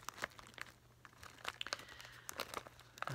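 A full, snack-size Brown Brownie Brittle plastic pouch is held up close and crinkled by hands. Sharp, bright crackles and crinkles come in quick irregular bursts over a faint, steady low hum, with the loudest snaps near the start, the middle and the end.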